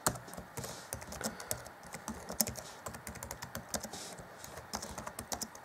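Fingertips of both hands rapidly tap the black plastic chiclet keys of a 2014 Acer Chromebook C20 laptop keyboard. Quick, dry clicks and clacks come in an uneven stream, each brief and bright with a light low thud beneath and almost no ring.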